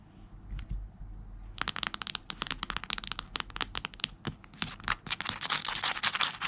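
Long red-painted fingernails rapidly tap and scratch the cover and spine of a thick, solid hardcover Bible with a brown leather or leatherette cover, lying on white bed sheets. After a quiet start, a dense stream of short, bright, crackly clicks and scratchy strokes begins and continues to the end, with little low-end weight.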